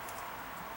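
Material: Nothing is struck.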